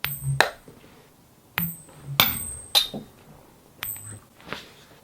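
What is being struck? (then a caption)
Two small silver dimes flicked together. Two 90% silver dimes are flicked against each other, since they are too small to strike any other way. Seven short, bright metallic pings ring out, with a high tone around 1.8 kHz that fades almost instantly, as expected for genuine 90% silver.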